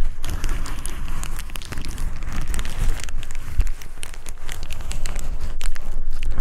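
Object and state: Plastic bubble wrap sheet.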